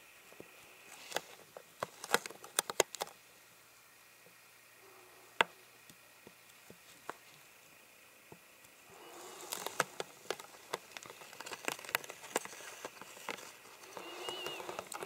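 Fingernails scratch and tap on the ridges of a clear, ribbed, hollow, empty plastic water bottle. Sharp, bright clicks and taps come first, then a quieter pause, then denser rasping scratches mixed with taps toward the end. The sound is quiet and light, with almost no low end.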